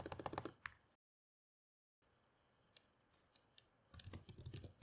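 Long-nailed fingertips type on the plastic keys of a black laptop resting on a table, giving a quick burst of clicky taps. A second of silence follows, then four separate light taps, and finally another rapid run of typing.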